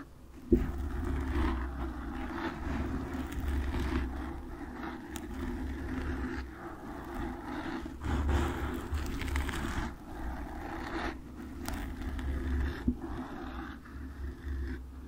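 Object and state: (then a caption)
Foam microphone windscreen scratched with nails. Long nails scratch and tap on a black foam windscreen covering a microphone. The result is a continuous low, rumbling scratch with muffled thumps, a sharp tap near the start, and a fainter one near the end.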